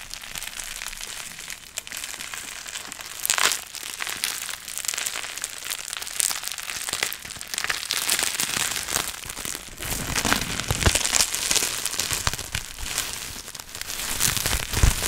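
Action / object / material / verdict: scrape / plastic bubble wrap / plastic / none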